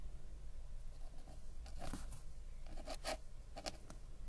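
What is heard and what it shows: A metal-nib ink pen scratches and glides across a flat paper sketchbook page while writing lines of text. Quiet, bright, scratchy strokes come in short bursts, strongest around the middle and latter part of the clip, over a steady low hum.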